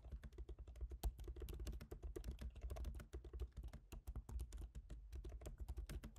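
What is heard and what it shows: Fingertips of both hands type rapidly on a MacBook Pro keyboard, its black plastic keycaps set in a silver aluminum body. The result is a quiet, steady stream of short, crisp clicks with bright tops that die away almost at once, over a constant low hum.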